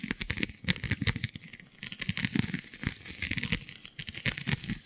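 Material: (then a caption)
Vinyl. Long nails scratch across a flexible, iridescent holographic scale vinyl sheet, a plastic/vinyl sheet with raised scale-like bumps. The result is a dense run of quick, dry crinkling scratches and ticks, with a bright crackly top and soft low thumps. Each stroke is short and stops almost at once.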